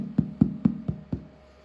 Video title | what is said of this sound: 5 Cozy Sourdough Recipes for Just $5 - Bread, Bagels, Pizza & More | hollow sound? That's how you know it's perfect.